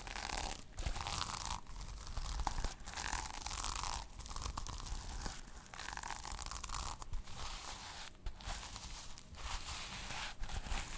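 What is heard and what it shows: Long nails brush and scratch across the reversible plastic sequins on a small sequin-covered notebook cover, flipping them to silver. The result is a steady, dense crackling and scratching texture with bright crinkly edges and brief pauses between strokes.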